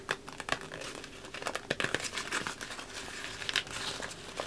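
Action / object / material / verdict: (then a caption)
scrape / thin sheet of wrapping paper / paper / none. A large sheet of thin red patterned wrapping paper, empty and hollow, is held up in one hand and crinkled and rubbed with the fingertips. It gives a steady run of dry, bright crackles and rustles with sharp snaps near 1.7 kHz. There is almost no low end, and each crinkle dies away at once.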